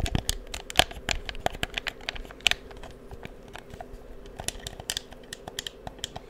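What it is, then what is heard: Plastic game controller. Fingertips press the buttons and tap the shell of a black, hollow plastic PS4 game controller held in front of a microphone. The result is a rapid, uneven series of sharp, dry, bright clicks and taps that stop almost instantly, with the loudest ones near the start and around two and a half seconds, over a soft low background hum.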